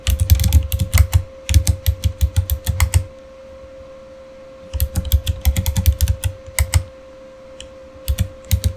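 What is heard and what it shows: Fingertips type on a backlit Razer mechanical keyboard with plastic keycaps, producing bursts of sharp, bright clicks over a deep thump from each keystroke. The typing comes in three runs separated by pauses, with a steady faint hum underneath throughout.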